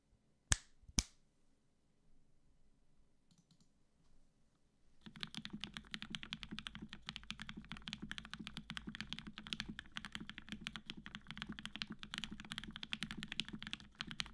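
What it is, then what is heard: Mechanical keyboard with PBT keycaps and aluminum plate. A black-cased tenkeyless Matrix 8X V2.0 mechanical keyboard with cream PBT keycaps, an aluminum plate, and 65g retooled black switches with Gateron yellow springs, sitting on a desk mat, is typed on rapidly with the fingertips of both hands. Two sharp, bright clicks open the clip, followed by a few seconds of near quiet. Then a dense, steady stream of quick, crisp keystrokes with a solid, deep thock runs to the end.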